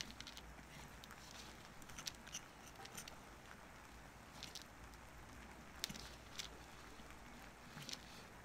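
A solid bar of soap, held upright and flat on paper, is scraped and carved with a wooden-handled carving knife. Soft, dry scratching and crisp high ticks come and go over a steady low hum, with the sharpest cuts standing out as brief bright clicks.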